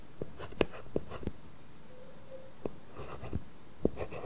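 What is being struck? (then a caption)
Glass tablet screen with matte plastic film, stylus. A stylus writes letters on a flat iPad glass screen covered with a paper-feel matte plastic film. It makes quiet, dry taps and short scratchy strokes with sharp, brief peaks spread across the clip, and a faint steady tone briefly in the middle. The sound is soft and low-heavy, with little brightness and almost no ring.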